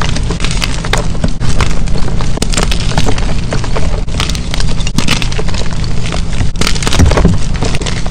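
Fingers with dark-painted nails quickly squeeze and crush solid white gym chalk chunks, letting the powder fall into a pile of chalk. A dense, steady stream of crunching and crackling plays over a heavy, deep rumble, with brighter snaps cutting through at intervals.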